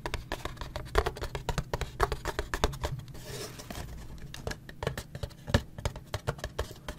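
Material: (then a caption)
Cardboard. A small printed cardboard Gulf Wax box holding paraffin wax blocks is held in the hands and tapped quickly on its sides with the fingertips and nails. The result is an irregular, rapid patter of short, dull, low taps with sharp clicky edges and no ring, broken by a brief scratchy rustle in the middle.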